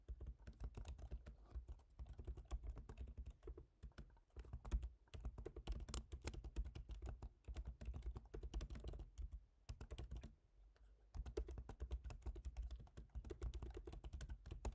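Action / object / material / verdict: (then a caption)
tap / aluminium laptop keyboard with plastic keys / plastic / none. Both hands tap with their fingertips on the plastic keys of a silver MacBook Pro, an aluminium laptop keyboard, in a quiet, rapid run of short, soft clicks and dull low thuds. The typing breaks off in a brief pause near the 10-second mark, then resumes at the same steady pace.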